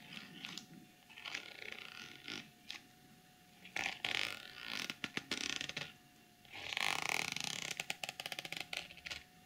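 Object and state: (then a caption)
Sequin fabric pouch. Long glossy nails scratch and tap along a small, hollow, soft-sided zippered cosmetic pouch covered in pink reversible plastic sequins and along its zipper edge. Bright, hissy bursts of sequin scratching alternate with quiet pauses. The clip ends in a run of quick, crisp clicking taps.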